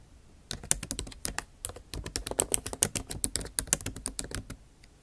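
A backlit MacBook Pro keyboard with plastic keycaps in an aluminum body is typed on with long nail tips. The result is a quick, irregular run of sharp, dry clicks with bright, clacky highs and no ring. After about half a second of quiet the typing starts, and it keeps going until near the end.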